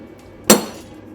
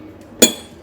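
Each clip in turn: First: One sharp metallic clank with a brief bright ring; a hammer blow on an iron plate that dents but stays whole. Second: One sharp, bright clink with high ringing overtones that fade fast; the zirconia ceramic plate stays whole.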